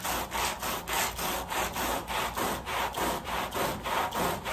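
The wet, foamy back side of a woven pile area rug lying on a plastic sheet is scrubbed in back-and-forth strokes with a long red-handled white bristle push brush. A steady, rhythmic rasping swish rises and falls with each stroke, a broad scratchy hiss centered in the mids with a bright top and little low end.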